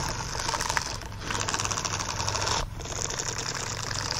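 Fingertips and nails of both hands quickly scratch the bristled fingers of a green silicone bristle glove laid flat. The result is a dense, continuous, bright rasping scratch with a light low rumble underneath, easing briefly twice before carrying on.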